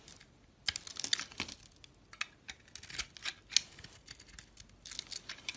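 A metal utility blade shaves thin slices from a hand-sized solid oval soap bar with purple glitter shimmer and "Anita" lettering, revealing white inside. Irregular, crisp, bright scraping strokes come in short bursts with quiet gaps, each cut dry and quick with almost no ring.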